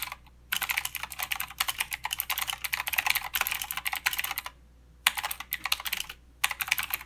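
A mechanical keyboard with blue switches and plastic keycaps is typed on continuously with the fingertips of both hands. Quick, bright, clicky keystrokes come in dense bursts, with brief pauses near the start, around the four-and-a-half-second mark and shortly after six seconds. Each click is sharp and dies away almost instantly.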